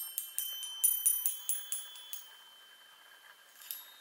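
Long nails tap the hollow metal tubes of a small handheld chime on a wooden frame, making a quick, slightly uneven run of bright, high metallic pings. The taps fade to a soft shimmer before one last tap near the end. Each ping sounds thin and high, with almost no low end, and stops quickly.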